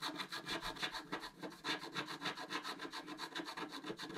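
A wooden stylus scratches a flat, black-coated scratch art card, about A4 size, lying on a table, in 15 quick, steady back-and-forth strokes. Each stroke makes a dry, bright rasping scrape that peaks around 3.5 kHz, with almost no low end and no ring after it stops.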